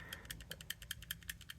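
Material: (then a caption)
Steel. A budget OTF knife is shaken side to side, and its loose steel blade rattles in the handle with 14 quick, bright metallic clicks over a low background hum. The rattle shows a lot of blade play.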